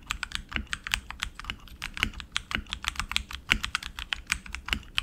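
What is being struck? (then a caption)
Mechanical keyboard with plastic keycaps on aluminum frame. Both hands type continuously with their fingertips on a tenkeyless RGB mechanical keyboard with tactile switches, plastic keycaps and an aluminum frame. About thirty quick, bright clacks come in an uneven rapid stream, each dying almost instantly, with a faint low thud under some strokes.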